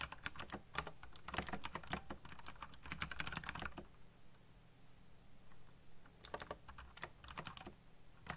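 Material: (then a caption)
Plastic. Fast fingertip typing on a backlit black plastic mechanical keyboard produces quick bursts of bright, clicky keystrokes over a low steady hum. The typing runs for about four seconds, stops for roughly two seconds, then resumes in another rapid flurry until the end.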